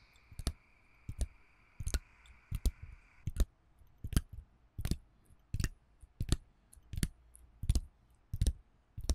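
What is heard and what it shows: Fingertips and nails tap and scratch across the clear plastic bubbles of a thin, flat blister pack holding pink pills with a white foil backing, held in one hand. Soft, dry clicking taps with a low thump and bright crinkly edge repeat roughly every 0.7 seconds, each dying away almost instantly. A faint steady tone hums underneath for the first few seconds.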